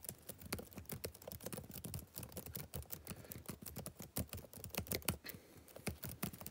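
Fingertips type rapidly on the plastic keys of a backlit laptop keyboard. A steady, uneven stream of short, dry taps, each with a soft low thud and a brighter click on top, dies away almost instantly.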